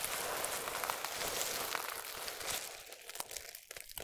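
Both hands grab, press and crush handfuls from a bed of small, solid, dry multicolored soap strips, then fingertips rub across the surface. A dense, bright crunching and crinkling fills the first part with almost no low end, then thins into quieter, scattered crisp crackles as the rubbing takes over.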